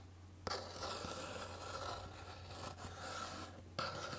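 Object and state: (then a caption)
Cardboard box scratched with nails. Long painted nails scratch and rub the surface of a small, hollow, rectangular pink printed cardboard box held in one hand. A steady, dry scraping rasp runs throughout, broken by two sharper scratching onsets near the start and near the end.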